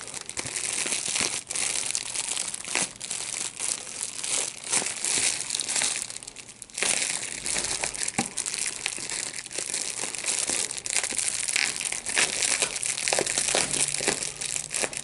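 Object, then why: Plastic bubble wrap. Clear plastic large-bubble wrap, hollow and air-filled, is held in both hands while its bubbles are squeezed and popped with the fingers, with a second unused sheet lying at the side. Dense, bright crinkling runs throughout, broken by many sharp, short pops that stop almost instantly. The sound dips briefly just past the midpoint before the crackling resumes just as densely.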